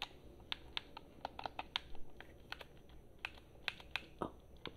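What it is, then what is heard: Plastic game controller. Long fingernails tap and click on the buttons and body of a black, hollow, handheld plastic game controller. The result is a quiet, irregular series of sharp, dry clicks with bright highs and almost no ring, over a soft low background hiss.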